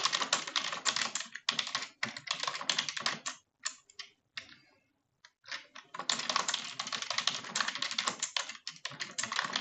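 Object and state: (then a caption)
Plastic computer keyboard. Rapid key taps on a full-size dark plastic computer keyboard resting on a desk, typed with both hands using long French-manicured nails and fingertips. Dense bursts of bright, short plastic clicks run steadily, thin to a few scattered taps and a brief near-silent pause around the middle, then resume at full pace to the end.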